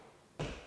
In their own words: This floor has been built up and you should be able to hear it. It's hollow.